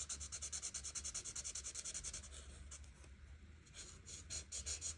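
A felt-tip marker held by a hand with long red nails scratches and rubs in quick back-and-forth strokes across a thin printed paper coloring page lying flat on a table. The strokes make a bright, hissy scratching that pulses rhythmically about three times per second. The strokes ease briefly in the middle before picking up again.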